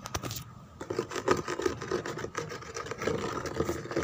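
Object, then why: Molded plastic chair back. Long fingernails and fingertips scratch and rub the textured back of a white molded plastic chair embossed with roses. The result is a quiet, continuous run of dry, rasping scrapes with brief bright flicks, settling into a steady, low-mid papery texture.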